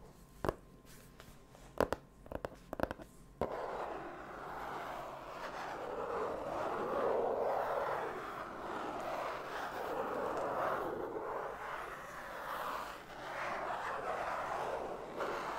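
A large black padded vinyl-leatherette card binder album, closed with a hollow rigid cover and held against the chest, is tapped and scratched on its cover with fingertips and nails. First come several sharp, separate taps. These give way to a continuous soft scratching that swells and eases for the rest of the clip, centered in the mid frequencies.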